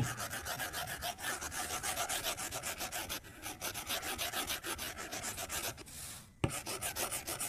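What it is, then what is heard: Stylus on glass tablet screen. A white plastic stylus tip strokes and taps the glass touchscreen of an iPad resting on a desk while coloring. Quick, steady scratchy strokes carry a bright, raspy hiss, and a smoother, quieter swish near the end leads into a single sharp tap before the scratching resumes.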